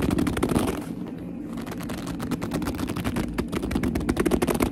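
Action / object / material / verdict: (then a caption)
scrape / leather purse / leather / none. Hands grip and clutch a black leather purse while long nails tap and scratch the leather, giving a dense run of quick, irregular taps and squeaky, crackling rubs. The sound is mostly low-mid and muffled, easing briefly about a second in before the tapping grows busier and louder toward the end.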